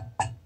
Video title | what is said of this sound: Rejuvenating Old Coal Era Steam Systems With Proper Main Venting | if you tap it there's no rattle so this is yep steam's gotten to it